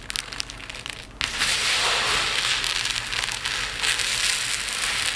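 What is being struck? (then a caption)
Tiny resin diamond art drills in a plate. Handfuls of tiny resin diamond art drills are lifted and poured in streams back onto a pile in a dark plate, like a rain stick. Light scattered clicks give way after about a second to a sudden, dense, bright patter that pours on steadily with small surges until the end.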